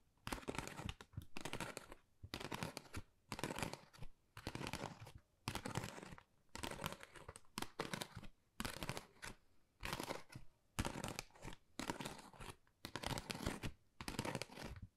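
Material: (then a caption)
Cardboard. Long nails scratch and tap across a flat, pink, textured cardboard Dior gift envelope. The result is dry, crinkly, broadband scratching that comes in short repeated bursts separated by brief pauses, with a bright, papery texture throughout.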